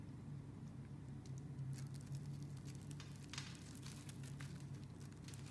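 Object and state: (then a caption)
Bar soap being scraped. A metal blade scrapes and cuts shavings off the scored surface of a green solid bar of soap held in a hand with long dark nails. Soft, crackly scratching and pattering comes in bright, short bursts over a steady low hum. The level stays quiet and even throughout.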